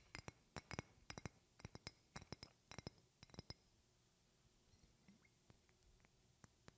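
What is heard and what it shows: A medium rectangular glass perfume bottle with a silver cap, held in both hands, is tapped with long painted fingernails, producing ringing glass clinks. Quick clusters of sharp, bright taps fill the first few seconds, then give way to softer, sparser clicks against a quiet background.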